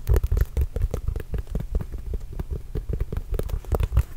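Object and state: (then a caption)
Composite leather basketball. A hollow, inflated Spalding NBA Grip Control full-size composite leather basketball is tapped with fingertips and scratched with nails. Quick, dull low thumps come in an uneven run, with faint brighter scratchy ticks on top. Each tap dies away almost at once, leaving no ring.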